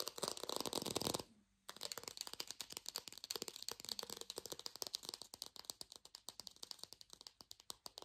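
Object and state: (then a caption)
Fake plastic lemon. An artificial lemon, probably plastic or foam, held in both hands is scratched and fast-tapped with long nails. A dense, bright scratching burst gives way after a brief pause to a rapid run of dozens of crisp, dry taps with no ring.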